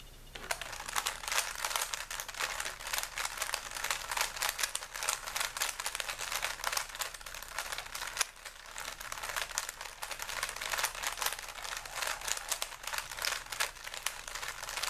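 Fingers twist the layers of a small, solid plastic 3x3 puzzle cube with stickers, held in both hands over a wooden table. Rapid, bright plastic clicks and dry rubbing run almost continuously, with a brief pause near the middle. The sound is crisp and short, with almost no low end or ring.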